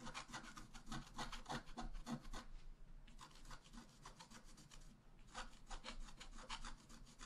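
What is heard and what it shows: A wooden stylus scratches repeatedly across a flat black-coated scratch-art page held down by one hand, working near the upper right of a tree design. Quick, dry rasping strokes come in dense bursts, with brief pauses around the third and fifth seconds before the scratching resumes.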